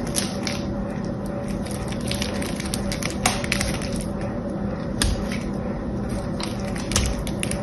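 A small knife cuts and scrapes a blue solid soap bar painted gold on one side, and crumbly pieces fall off. A steady, dense crunching and scraping runs throughout, broken by a few sharper bright clicks, over a low, constant hum.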